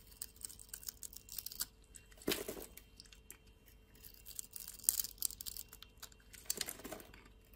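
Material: Soap.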